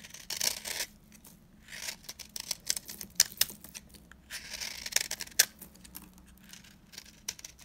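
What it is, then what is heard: Dry soap bar being cut. A blade cuts into a very dry, old, solid embossed green soap bar, crumbling its surface. Bright, dry scraping and crackling bursts come in irregular clusters with sharp crisp snaps, mostly high in pitch with almost no low end.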